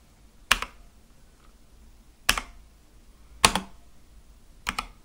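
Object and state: Mechanical keyboard with plastic keycaps.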